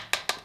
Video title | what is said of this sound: Tamiya Holiday Buggy: un classique remis au goût du jour ! | les plastiques font ça va, ça sonne pas creux non ça sonne pas creux